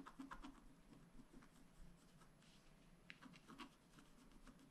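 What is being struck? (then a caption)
Black-coated scratch art paper card scraped with a wooden stylus. The tip of a wooden stylus scratches the coating off a flat, black-coated scratch art sheet lying on a table, in small repeated strokes. Quiet, dry, gritty scratches come in short bursts with brief bright edges over a faint low rumble, and each stroke stops almost at once with no ring.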